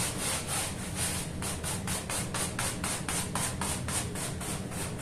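A small, dirty woven fabric rug covered in soap foam on a stone floor is scrubbed by hand with a short bristle brush in repeated strokes. Each stroke gives a scratchy, bright, hissing rasp in a quick, steady rhythm over a low background rumble.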